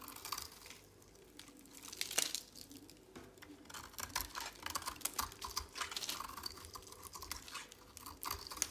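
A utility knife blade shaves flakes off the edge of a dry, pale green, oval solid soap bar held in a hand. The scraping is crisp, dry and bright, a quiet, steady run of short crackling strokes with a few louder bursts and almost no low end.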